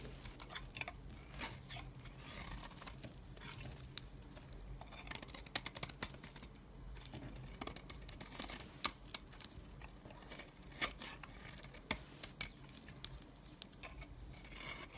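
A hand with long purple nails holds a solid pale green bar of soap while a metal blade scrapes shavings off it. The result is a quiet, steady run of bright, crisp scraping and crackling, with a few sharper snaps standing out near the middle and later in the clip.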